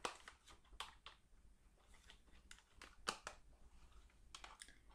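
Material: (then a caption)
Cardboard. A palm-sized Clairol hair dye retail box of thin printed cardboard, hollow with its contents not visible, is held up and tapped with long painted acrylic nails. The taps come as quick, dry, papery clicks with a light crinkly edge and almost no ring, spread unevenly across the clip over a faint low background.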